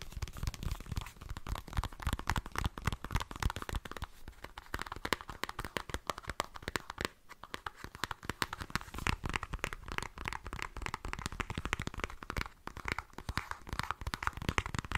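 A small pink-and-white squeezable plastic lotion tube, hollow and apparently filled, is held in one hand and tapped with fingernails right next to the microphone. The result is a fast, steady stream of short, dry clicks and taps with a soft low thump under each one and a crinkly, scratchy texture throughout.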